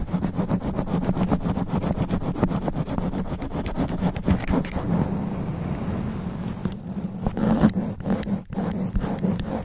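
Extra-long black nails scratch a sponge foam microphone windscreen in fast, aggressive sweeping strokes. The result is a dense, rapid, muffled scratching and rustling with a heavy low-end rumble and a steady low hum around 200 Hz. It eases briefly in the middle, then returns with sharper, choppier strokes.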